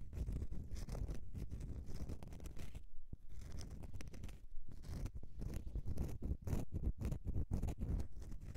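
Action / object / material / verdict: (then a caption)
scrape / bar of soap / soap / none. Long nails scratch the scraped face of a solid bar of soap tilted in the hands, making a dense, continuous run of dry, rasping scratches. The sound is heavy in the low end, with brief pauses near the three- and four-and-a-half-second marks before the scratching resumes.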